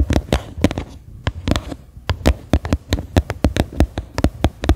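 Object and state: Empty upturned plastic bowl, hollow.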